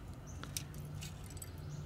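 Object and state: Fully charred, glassy biochar.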